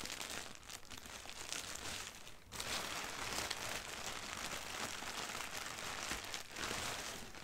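A thin sheet of white, doodle-printed tissue wrapping paper is crumpled while long nails scratch it and fingertips crinkle it. The result is a dense, bright, steady crinkling and rustling that dips briefly partway through, then returns a little louder.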